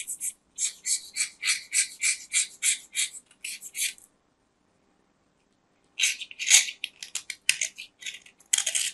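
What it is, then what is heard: Soap bar being shaved with a knife. A metal craft knife cuts and shaves the surface of a small, round, solid white soap disc held in the hand, making crisp, crumbly scraping strokes that sound bright and high with almost no low end. A quick series of short strokes runs for about four seconds, then two seconds of silence, then another burst of louder, denser shaving.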